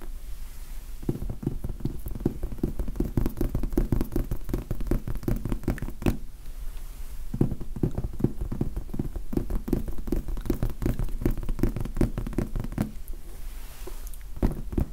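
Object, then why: Foam sponge die. Fingertips tap and knock on a large red foam sponge die in a steady, soft patter of dull, muffled thumps. The sound is mostly low with almost no ring. Two brief pauses break up the tapping.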